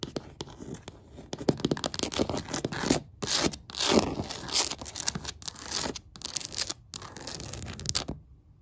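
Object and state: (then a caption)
Wooden floor. Several long black pointed nails tap and scratch along the grain of large, solid hardwood floor planks. Quick, irregular dry clicks mix with rough scraping, broken by brief pauses. The sound stops abruptly near the end.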